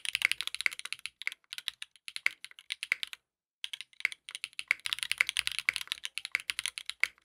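A compact 60% mechanical keyboard with a dark purple case, purple ABS keycaps with yellow and pink accents, and a polycarbonate plate sits on a desk mat and is typed on continuously with the fingertips of both hands. The result is a fast stream of short, bright, clacky keystrokes centered around 2.2 kHz. Each keystroke dies away almost instantly, and there is one brief pause in the middle.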